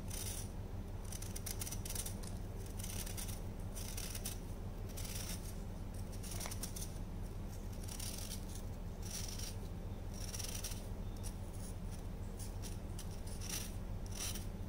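A solid orange chunk of dried baking soda, held in the hand, is shaved with a patterned knife blade over a tray of powder. Crisp, bright scraping strokes come in irregular bursts over a steady low hum, with the loudness staying fairly even throughout.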